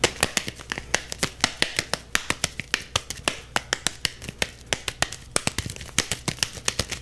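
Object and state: Leather softball.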